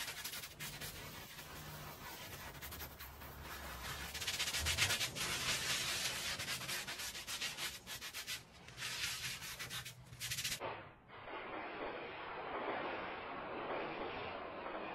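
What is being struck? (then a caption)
Woven fabric rug scrubbed with a bristle brush. A small oval maroon woven rug with fringe, lying flat, soaked and covered in soap foam, is scrubbed back and forth with a handheld plastic bristle brush while the other hand holds it down. Bright, wet, rasping brush strokes repeat quickly and unevenly over a low steady hum. Just before 11 seconds the sound turns duller and softer, becoming a continuous hissing scrub.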